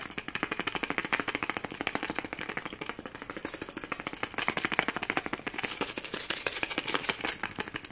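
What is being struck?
Foam ornament ball covered in plastic sequins.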